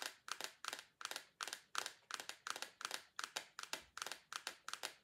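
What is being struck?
Small plastic tub tapped with fingernails.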